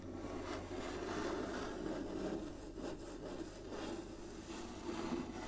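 Long nails slowly scratch and rub across an inlaid wooden chessboard resting on a table, with a few light taps. The result is a steady, soft, low-mid scraping texture with rasping strokes that rise and fall without sharp peaks.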